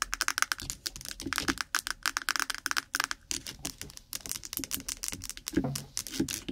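Long acrylic nails fast-tap the lid and sides of a small, lidded, apparently full 100 g white plastic jar of Vaseline petroleum jelly held in front of the microphone. The result is a rapid, dense patter of short, dry, bright clicks with a clicky tone around 1.5 kHz and almost no ring.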